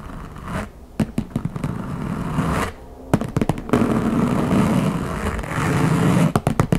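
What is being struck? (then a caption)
Closed wooden backgammon case with a printed covering. Long fingernails tap rapidly and alternately on the top lid of a closed, hollow wooden backgammon case covered in a printed map. Short bursts of sharp, dry clicks with a low hollow body alternate with stretches of steady, rasping scraping across the lid.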